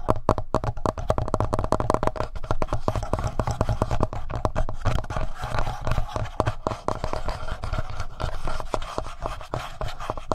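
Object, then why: Plastic handheld audio recorder. Fingertips tap quickly on the front panel and buttons of a hollow black plastic Tascam handheld audio recorder. The result is a dense, steady stream of short, dull, hollow taps that are heavy in the low end, with faint scratchy contact noise between them and no ringing after each hit.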